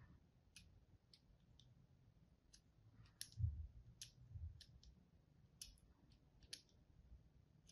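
A pink-and-white striped bar of dry solid soap, held in the hand, is cut and scored with a thin wire or thread and a pointed tool. The result is a series of short, bright, clicky scraping ticks scattered over a quiet, low rumble, with a few louder scrapes in the middle.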